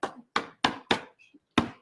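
Five drum-like thumps on the back of a 12 by 12 stretched canvas with push pins in each corner. The short, resonant knocks fade quickly and show the canvas is tight and ready for pouring.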